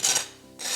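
A knife saws through the crust of a freshly baked no-knead fruit bread, baked in a Dutch oven with the lid off for the last 10 minutes to brown and crisp, then cut after cooling for about 2 minutes. Dry, high-pitched rasping strokes fade into a quieter stretch before the crunching rises again. The crust is audibly crispy.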